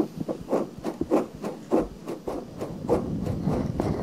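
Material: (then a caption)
Silicone. Long painted nails scratch and rub inside and around the small, soft, pale pink silicone ear of a 3Dio-style binaural microphone. A series of muffled, rasping scratches in the low-mid range repeats in a loose rhythm of roughly 100 strokes per minute, each with a brief, dry decay and little high-end brightness.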